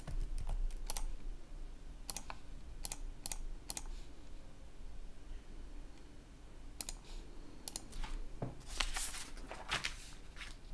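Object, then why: Plastic laptop keyboard. Fingertips type on a black plastic laptop keyboard with a red backlight, producing bursts of sharp, bright key clicks separated by pauses. A low, steady hum sits under the taps throughout.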